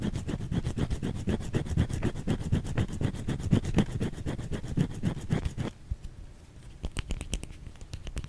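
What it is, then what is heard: Bar of soap scratched with fingernails. A white solid bar of soap held in the hand is scratched with long fingernails, producing rapid, steady, low, dull scraping strokes at about four per second. After roughly five and a half seconds the scratching thins out into quieter, sparser strokes with a few sharper, brighter scrapes near the end.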